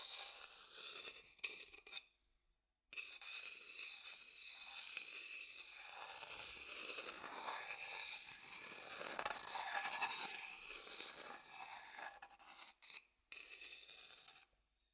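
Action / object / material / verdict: scrape / wooden bowl and thin wooden stick / wood / none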